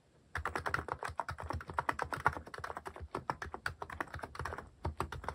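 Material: Plastic.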